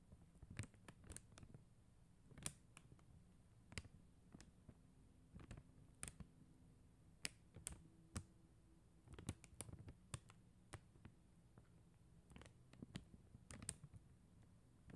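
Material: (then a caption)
Acrylic plastic. Long acrylic nails tap the plastic gems on a flat sheet of acrylic rhinestone stickers on white backing. Sharp, bright clicks come in irregular clusters with quiet gaps, over a faint low hum.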